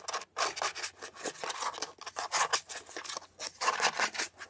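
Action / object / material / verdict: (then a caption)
scrape / plastic air freshener dispenser housing / plastic / none. A beige hollow plastic air freshener dispenser housing is turned in the hands while long nails rapidly scratch and tap its textured shell. The result is a quick, uneven run of dry, bright scratching and clicking bursts, centered around 1.2 kHz with no low end and very little ring.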